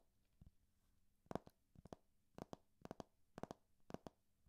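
Fingertips and painted nails tap and scratch the glossy laminated cover of a thick hardcover textbook, a large, solid block of paper held in one hand. About a dozen quiet, dull taps come mostly in quick pairs, each dying away almost instantly, over a faint low hum.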